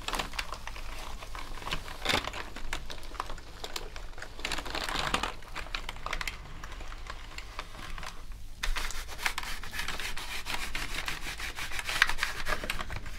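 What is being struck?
Plastic computer keyboard.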